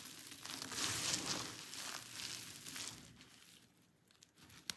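Both hands press, rub and pinch a mound of crushed dry pink soap shavings between fingertips and thumb, making the flakes crunch and crumble. A dense, bright crackling and rustling swells loudest in the first half, then thins to a quieter scatter of small crunches with a sharp snap near the end.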